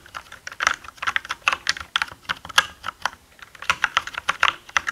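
A black mechanical gaming keyboard with plastic keycaps is typed on with the fingertips of both hands. The result is a brisk, uneven run of short, bright clicky key strikes with little low end and almost no ring.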